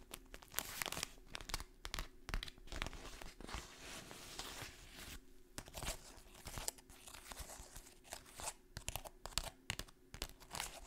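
A kraft paper stand-up pouch with a window and dried contents is crinkled and scratched with long painted nails. Dry, crisp crackles and papery rustles come in quick, sharp bursts that die away almost instantly, with bright tearing-like edges over a faint steady low hum.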